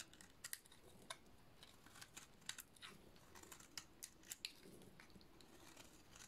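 An oval, solid, dry yellow painted soap bar is held in one hand and shaved along its face with a small flat metal blade, sending shavings piling up. Quiet, crisp scraping crackles and sharp bright snaps repeat over a soft hiss, each one dying away almost at once.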